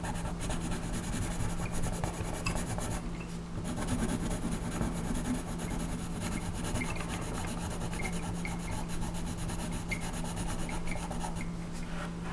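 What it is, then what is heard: Colored pencil rubbing on a paper page. A colored pencil shades the lower tail and legs area of a flat paper coloring page with continuous rubbing strokes. The result is a steady, soft scratchy rasp that stays even throughout, over a constant low hum.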